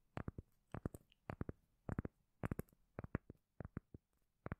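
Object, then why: Cork lid. A round, palm-sized solid cork lid is held in the hand and tapped and scratched with long nails. About twenty short, dull, bassy taps land in quick clusters with no ring, separated by brief quiet gaps.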